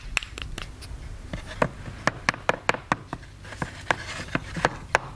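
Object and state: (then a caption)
Plaster excavation block. A small solid white plaster block from a dinosaur dig kit is held in the hand while a wooden chisel stick is knocked into it with a small wooden mallet to chip it. The result is a quick, uneven series of short, dry, bright clicks and taps with almost no ring, over a faint low rumble.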